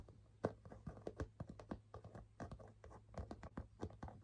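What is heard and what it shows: Fingernails scratch back and forth across the front panel of a burgundy leather half-moon bag, making a quiet, dry rasping with soft clicks. The strokes come in a steady series of short, close bursts over a low background hum.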